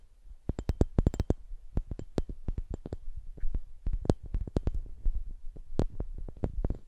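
A hollow, empty, hand-sized clear glass Christmas ornament ball with a string loop is held in both hands and tapped and rubbed with the fingertips. Quick, soft, low-heavy taps come in irregular bursts, each with a brief bright click that stops almost instantly with no ring, over a faint rubbing hiss between them.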